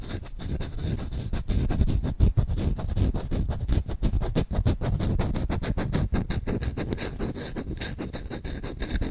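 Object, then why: Wooden spoon. Short-nailed fingertips scratch rapidly and aggressively across the bowl of a solid wooden spoon. The result is a dense, irregular stream of quick, dry scratching strokes, heavy in low, rumbly tones with little brightness, running steadily with no pauses.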